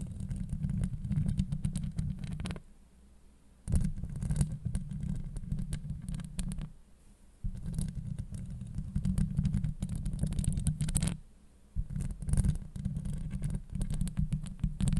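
Long acrylic nails scratch across a hollow steel mesh microphone grille, producing dense, rough scraping with a deep, boomy low rumble and a faint bright fizz. The scratching comes in four sustained bursts, separated by brief quiet pauses.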